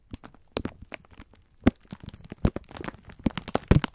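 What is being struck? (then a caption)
Plastic film wrapper around sponge scourers. A full pack of sponge scourers in clear plastic film is squeezed and rubbed with the fingertips of both hands. It gives an irregular string of crinkling, crackling bursts, with a few louder crunches and a dull, low-heavy tone.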